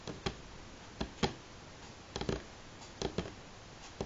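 Slow fingernail taps on a solid light pine tabletop give nine short, dry knocks with a woody midrange body and a quick decay. The taps come unevenly, some singly and some in close pairs or clusters, over a quiet background.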